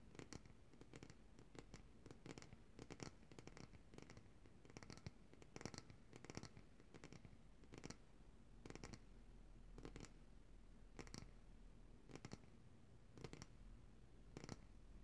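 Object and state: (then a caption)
Glass jar of coconut oil. Long nails tap and scratch a large glass jar of coconut oil, full of white solid oil and held upright in both hands, working over both the glass and its label. Short, dry, bright clicks come in quick clusters over a soft, continuous low scratching. The result is a quiet, steady rhythm of tapping and scraping across the whole clip.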